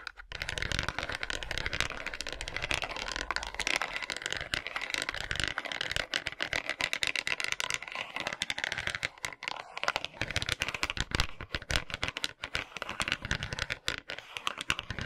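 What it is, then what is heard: Bamboo massage brush. A handheld bamboo massage brush, with a curved reddish-brown wooden back and rows of rounded wooden pins, is rubbed and scratched with small plastic toy hands worn on the fingers. The result is a dense, bright, rapid clicking and rattling, like fast typing, with short dry ticks that stop instantly and keep going for about 15 seconds.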